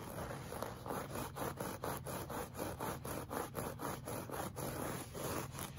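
Short fingernails scratch a flat, solid, beige looped-pile woven fabric rug in a clawing motion. The result is a steady run of soft, rhythmic scraping strokes, about two per second, with a rough midrange texture and a faint low hum underneath.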